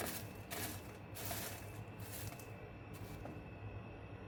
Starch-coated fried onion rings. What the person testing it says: هتسمعوا بقى كمان صوت القرمشة دلوقتي وهتشوفوه عامل ازاي